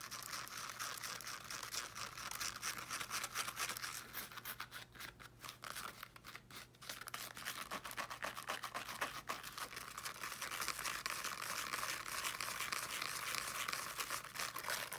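Long dark nails quickly scratch the woven fabric mesh of a small teal fabric-covered speaker. The result is a steady, dense, bright scratching texture that dips briefly in the middle before picking back up, with a faint low hum underneath.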